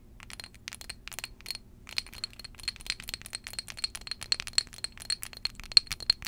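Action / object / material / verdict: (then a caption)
tap / small glass perfume bottle tapped with long acrylic nails / glass / none. A small glass perfume bottle filled with amber liquid is held in both hands and tapped with long, jeweled acrylic nails. The result is a rapid, irregular run of bright, high glassy clinks that stop almost instantly, with almost nothing in the low end.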